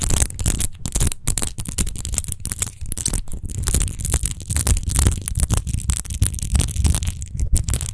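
Long nails quickly scratch and tap over a large, hollow, clear glass rose-shaped wine bottle with a rose-textured base, which lies on a fuzzy mat and appears empty. The result is a dense, continuous stream of rapid, short, dry taps and raspy scrapes. Each tap has a low thump beneath a bright, hissy texture and dies away almost at once.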